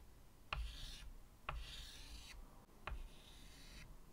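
White chalk drags three long curved strokes across a medium flat chalkboard with a wooden frame resting on a table. Each stroke starts with a sharp tap as the chalk meets the board, then a dry, bright scratching rasp that fades out over a faint low rumble.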